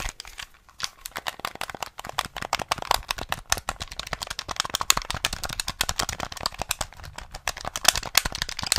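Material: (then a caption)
Plastic. A small, hollow, grey plastic SNES gamepad is held in the hands while fingertips quickly tap and click its buttons and shell. The result is a dense, continuous stream of sharp, dry, bright plastic clicks and taps with almost no ring, steady throughout and a little louder toward the end.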